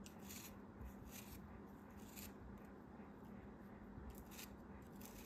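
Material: Sand.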